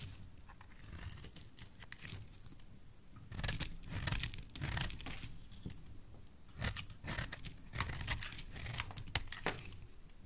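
A black-handled utility blade scrapes and shaves thin strips from a solid, dry, oval, pale yellow bar of soap held in the hand. Quiet, rough scraping in the first few seconds gives way to louder bursts of crisp, crackly shaving with a bright, papery edge. The cuts come in uneven clusters, with short pauses between strokes.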